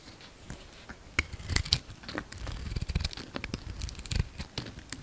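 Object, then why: Bar of soap. A hand-sized solid oval soap bar, dark green outside and pale green inside, is shaved with a utility-knife blade. Dry scraping and cutting strokes crackle and rasp in quick, overlapping bursts with a low thud underneath.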